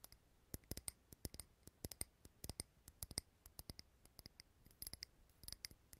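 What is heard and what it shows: Fingernails tap on a small clear glass jar candle filled with green wax, held close to the mic. Quiet, sharp clicks come in an irregular, rapid flurry, each dying away almost instantly with a bright, glassy tick over a faint low thud.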